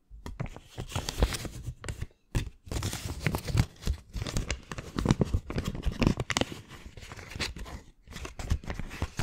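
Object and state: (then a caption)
Paper banknote. A single US dollar bill of thin, flexible paper is crumpled and rubbed between fingertips, then folded small. It makes dense, crackling crinkles and rustles with soft low thumps, in close bursts broken by brief pauses near 2 and 8 seconds.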